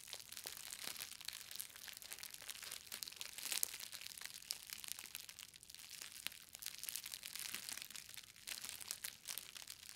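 A green plastic bubble-wrap parcel with a book inside is held and squeezed along its edges with fingers and long nails, crushing and popping the bubbles. The result is a quiet, continuous stream of bright crinkling and crackling, scattered with many short, sharp pops and almost no low end.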